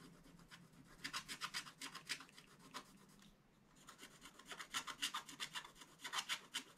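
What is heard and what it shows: A wooden scratching stick is rubbed and scraped repeatedly across the black coated area of a flat, wax-coated scratch-art book page. The result is quiet, bright, dry scratching in quick rhythmic strokes with almost no low end. It pauses briefly near the middle, then resumes in a steady run.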